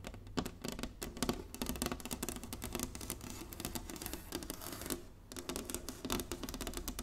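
Long nails tap rapidly and continuously on the surface of a large, flat, inlaid wooden chessboard. The taps are short, dry and bright over a low hollow body, with a brief lull near the five-second mark.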